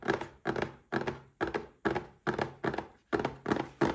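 Fingertips and short nails tap the front and sides of a small red cardboard gift box holding a Paladone Mario Kart glass. The result is a steady run of dull, hollow thunks, often in quick pairs, with a mid-low body and a short decay between taps.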